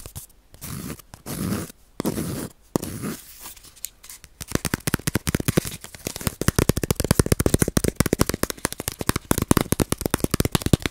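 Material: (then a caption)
Bamboo sheath. A palm-sized flat round woodblock-printing baren, wrapped in dry bamboo sheath with a fibrous ridged surface, is held close to the mic and scratched and rubbed with fingernails. The first few seconds bring slow, breathy rubbing swishes in separate bursts. These give way to a fast, dense run of dry, crackly scratches with no ring after each stroke.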